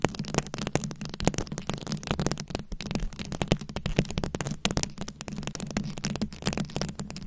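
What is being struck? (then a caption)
Microphone head covered in glued rhinestones. Long acrylic nails scratch and tap across a fist-sized microphone head fully covered in small glued-on rhinestones and beads. The result is a dense, continuous stream of sharp, bright clicks and crackles with very short decays, over a steady low hum.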